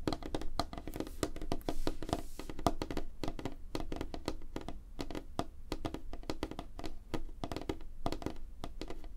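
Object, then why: Wooden tabletop. Both hands tap quickly with fingertips and short nails on a flat, solid, light-colored wooden tabletop under a spotlight. The result is a rapid, dense stream of short, dry taps and clicks, with a low thumpy body and a woody knock in the mids. Each tap dies away almost instantly, leaving no ring.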